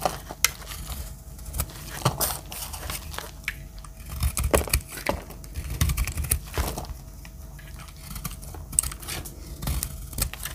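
A metal utility-knife blade carves and scrapes a dry, palm-sized green solid soap bar into chips. Repeated dry, crunchy scrapes and sharp cutting clicks come in irregular bursts, with a bright crackly texture over a dull low body.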